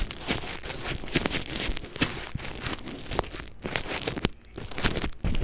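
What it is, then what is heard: Plastic bubble wrap. A sheet of clear plastic bubble wrap laid over an earphone mic is pressed and rubbed with a fingertip. The result is dense, close crinkling and crackling with frequent sharp snaps across the whole clip. A heavy low-end thump runs underneath, and the highs are bright and hissy.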